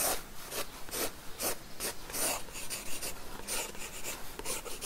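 A wooden graphite pencil scratches and rubs lines onto an open paper sketchbook page resting on a wooden table. Quick, irregular back-and-forth strokes make a dry, bright, raspy hiss over a faint low rumble.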